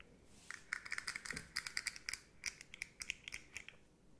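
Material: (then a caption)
Hard plastic. Long nails tap and scratch across the hollow segments of a rainbow, hard plastic articulated slug fidget toy about 20 cm long. The result is a quick run of sharp, bright, dry clicks with a hollow plastic tone around 2 kHz and light scratchy noise between them. Each tap dies away almost at once.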